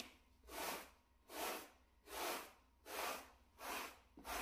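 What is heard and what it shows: A small, solid, flat grey plush shag carpet mat is brushed with a wooden-backed natural-bristle brush held in a gloved hand. Six even, rhythmic strokes give a soft, bright rustling hiss that swells and fades with each pass, with quiet pauses between, and the last stroke is cut short.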